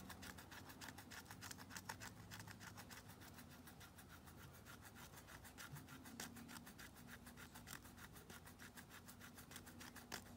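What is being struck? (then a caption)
Bar of soap scraped with a nail file. A thin pink stick rapidly scrapes and files the edge of a solid white Dial bar soap, its logo visible, held in a blue-gloved hand, in a failed soap-shaving attempt. It makes a steady stream of quick, dry, bright rasping strokes with a faint low hum underneath.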